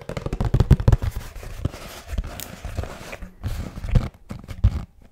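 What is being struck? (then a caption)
Cardboard box. Fingertips tap and knock rapidly on a hollow kraft cardboard box with a blue band, held upright. The result is a quick, uneven series of dull, low, hollow thuds that stop almost at once, with short pauses between bursts.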